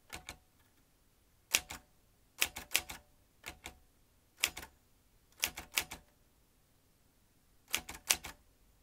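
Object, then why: Metal manual typewriter. Both hands' fingertips type on the round keys of a vintage metal manual typewriter, its typebar basket and ribbon spool in front. Twenty sharp, bright metallic clacks come in short bursts of two to four, each dying away almost at once, with quiet pauses between bursts.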